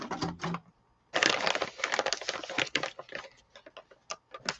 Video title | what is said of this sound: This That and Chat Journals Mixed Media and More | I could hear it sloshing, and I'm pretty sure it doesn't have a bearing in it